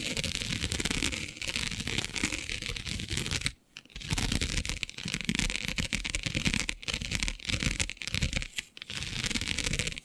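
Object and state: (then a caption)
Plastic diamond mesh sheet being scratched. Long nails scratch across the grid of a flat, black, iridescent plastic diamond mesh sheet, making a dense, bright, raspy scraping with a rough low rumble underneath. The scratching runs in steady bursts, broken by a short silence near the middle and a few brief pauses later on.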